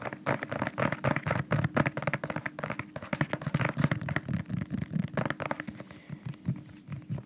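A dark bottle with a white cap and white label, probably plastic, is held close to the microphone and tapped quickly with the fingernails. The result is a dense, uneven run of short, dry clicks and hollow knocks with a low body and very little ring.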